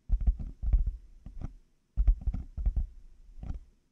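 Fingertips and nails of both hands tap on black plastic hollow over-ear headphone earcups fitted on a binaural mic. The result is rapid bursts of dull, hollow, low thuds with light clicky edges, separated by short pauses. Each tap dies away almost instantly.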